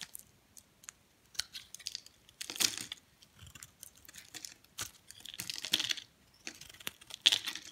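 A hand-sized solid white bar of soap, held in one hand, is shaved and scraped by a flat metal blade that lifts curls off its surface. The result is a run of quiet, dry, crisp scraping and crunching strokes, bright and high with almost no low end. Each stroke dies away at once.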